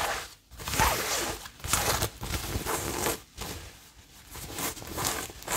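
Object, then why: Cotton fabric tote bag. A cream-coloured printed cotton fabric tote bag is handled and scratched with long nails. Dry, bright scratching strokes come in bursts, separated by short quiet gaps, with soft fabric rustling in between.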